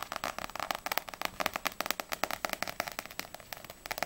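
Long nails tap quickly on the glossy front cover of Ousama Game volume 2, a small solid paperback manga held in both hands, before the book is tilted. About 25 fast, dry, clicky taps land in a rapid, uneven rhythm, each with a papery midrange knock and a bright edge. There is almost no low end, and every tap dies away instantly.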